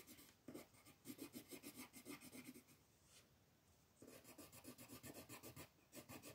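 A pink colored pencil scratches and rubs across a flat white paper mandala sheet in continuous shading strokes. It makes a quick run of dry, rasping strokes with a bright, papery hiss, about three to four per second. The strokes ease into a softer rub for about a second before the rapid shading picks up again.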